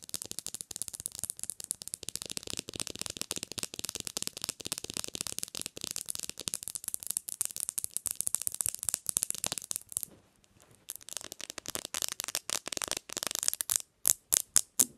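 Long acrylic nails tap fast on a bare black glass-screen smartphone lying screen up on a white pillow, gripping the edges of the small, thin, solid device. The result is a dense stream of crisp, bright, clicking taps with almost no low end, which pauses briefly around the ten-second mark. Slower, separate, sharper clicks follow at the end.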